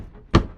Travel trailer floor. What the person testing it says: it ain't hurting anything it's it's solid as a rock